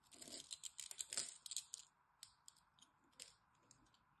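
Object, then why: Bar of soap. A small blade scrapes the scored edge of a solid green bar of dry soap held in the hand, and small cubes crumble off. Bright, dry crunching and crackling is dense for the first two seconds, then thins into sparse, sharp little clicks.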